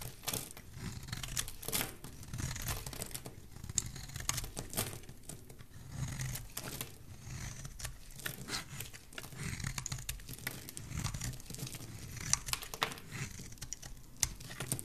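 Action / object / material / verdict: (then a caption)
scrape / bar of soap shaved with a metal blade / soap / none. A metal blade carves a rectangular solid green bar of soap held in the hand, shaving off curls. Dense, crisp scraping and crinkly tearing sounds run continuously, with bright, sharp flicks over a soft low rumble.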